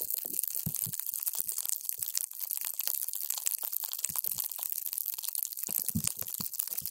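A paper straw is pushed down into a clear plastic cup full of multicolored water gel beads, crushing and squishing them. The sound is a dense run of wet, crackling crunches and squelches, mostly bright and high with occasional deeper soft thuds.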